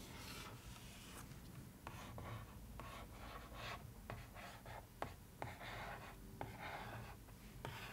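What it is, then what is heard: Paper-covered cardboard box lid. Long painted nails trace and tap across the flat lid of a box covered in newspaper-print paper, likely hollow cardboard. Soft, steady rubbing and scratching against the papery surface is broken by several sharp, short taps with quick, dry decay. The sound stays quiet and close throughout.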